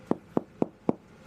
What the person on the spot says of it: deuxième vérification ça va être le son creux qu'on va avoir